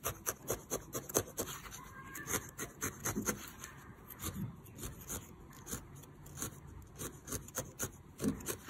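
A small, solid needle-felted wool figure in lavender and yellow is held in the fingers over a white felting pad and stabbed repeatedly with a thin metal felting needle. Many quick, dry crunching pokes follow one another in an uneven rhythm, each with a crisp bright edge over a soft fibrous rub, with almost no ring after each stab.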